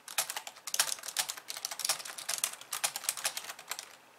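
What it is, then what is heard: Plastic computer keyboard. Fast two-handed typing with long nails on a pink plastic computer keyboard with white keys. A rapid, uneven stream of sharp, bright clicks, each dying away almost instantly, with nothing in the low end.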